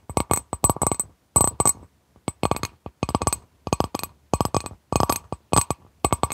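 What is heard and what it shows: Long nails tap the outer surface of a clear, etched, medium-sized glass bowl that is empty and held upside down in both hands. The taps come in quick clusters separated by short pauses, each a brief clink with a bright, high ring that dies away almost at once.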